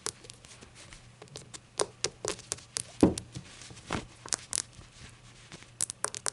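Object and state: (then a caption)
Glazed ceramic shot glass. A small, hollow, glossy-glazed ceramic shot glass held in the hands is tapped and rubbed with long acrylic nails. About two dozen quick, bright clicks and scratchy rubs die away almost instantly, with one fuller knock near the middle. A faint low hum runs steadily underneath.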